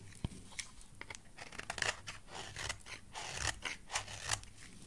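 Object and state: Soap bar being carved.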